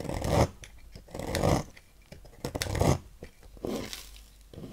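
A thin metal knife carves fine curled shavings from the cut face of a solid green bar of soap held in hand. Four drawn-out scraping strokes rise and fade, each a soft, grainy shaving sound with a bright hiss over a muffled low body, separated by quieter gaps of faint scratching.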